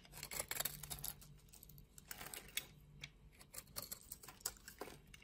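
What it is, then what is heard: Soap bar being scraped. A utility knife blade scrapes cubes off a solid pink soap bar that has been scored into a grid. The result is a quiet run of crisp, bright scraping and crumbly ticking bursts, with short dry snaps and almost no ring.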